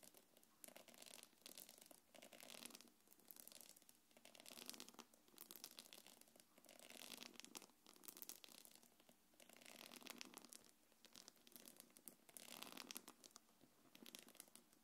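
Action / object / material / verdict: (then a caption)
scrape / quilted faux-leather belt bag / faux leather / none. Long nails scratch and drag over the surface of a small, hollow, quilted black leather-look belt bag. The result is quiet, bright, rasping scratches that come in repeated swelling waves, with almost no low end.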